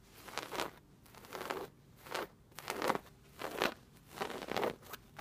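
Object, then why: Padded chair with woven fabric upholstery. Long red nails and fingertips scratch and rub the brown and gold patterned woven upholstery of a soft, padded fabric chair. Dry, crunchy scratching rasps come in repeated uneven bursts with short quiet gaps between them. The sound is mostly bright, with little low end.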